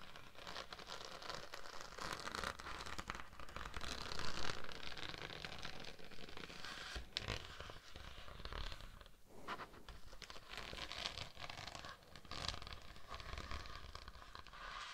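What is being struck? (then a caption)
Thin embossed vinyl sheet. Long acrylic nails scratch and tap a thin, iridescent holographic vinyl mermaid-scale sheet with embossed scales draped over a dummy-head microphone. The sound is a steady, dense run of crinkly scratching and quick taps with a rustling, zipper-like texture and a close low rumble underneath.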